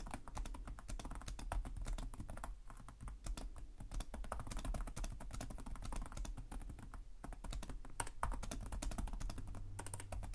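Both hands type rapidly with their fingertips on the plastic chiclet keys of a black laptop with a hollow chassis. The result is a dense stream of short, dry clicks and taps, with brief pauses, over a steady low hum.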